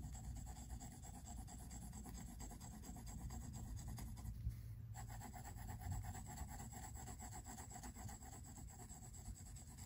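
A pink mechanical pencil scratches and shades the white paper page of a spiral-bound sketchbook resting on a wooden table, making short, repeated strokes. The sound is a steady, soft scratchy rubbing with a low, dense texture that continues throughout the clip, dipping briefly near the middle.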